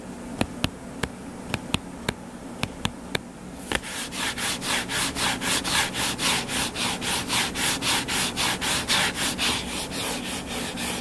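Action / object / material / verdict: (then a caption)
scrape / closed hardcover paper book / cardboard, paper / none. A closed hardcover paper book lies flat and solid while its cover is tapped with nine sharp, separate clicks over the first few seconds. Short fingernails then scratch the cover in steady back-and-forth strokes, about two per second, making a bright, hissy rubbing sound that continues to the end.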